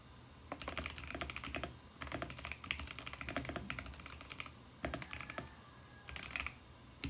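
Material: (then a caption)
Plastic. Fingertips type on a compact VGN X68 mechanical keyboard with plastic keycaps, producing bursts of quick, sharp clacks with short decays and a bright edge centered around 2.5 kHz. The typing comes in several runs separated by brief pauses, over a faint, steady low hum.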